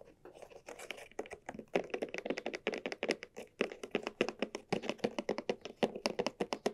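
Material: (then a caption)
Leather. Long nails and fingertips tap the surface of a small hollow cylindrical bag of red croc-embossed leather with straps, held in both hands. About forty quick, dry, hollow taps land in an uneven, rolling rhythm, each a short clicky knock centred around 480 Hz with a bright edge and almost no low end. The taps die away almost instantly.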